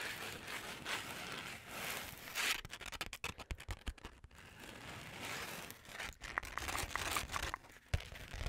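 Long manicured nails scratch across the textured glitter cover of a flat, book-sized rose gold notebook held upright, making a dense, hissy scraping sound. The scratching breaks into a run of quick, sharp taps on the glitter surface, then returns to scraping mixed with a few more scattered taps.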